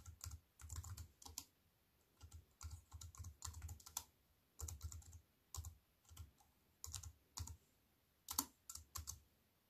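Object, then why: Plastic computer keyboard on an aluminium frame. A compact plastic computer keyboard with black plastic keys on a silver aluminium frame is typed on with fingertips and long white nails. Quick bursts of clicky keystrokes, each with a low thump and a bright tap that stops almost at once, are broken up by short pauses.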